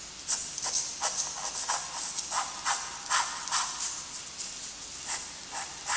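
A graphite stick held in a gloved hand draws light, then darker, strokes of a letter on a flat, lined sheet of gray toned drawing paper. Quick, dry scratching bursts come at an uneven pace, bright and hissy, with a faint rasp in the midrange. There is almost no low end and no ring after each stroke.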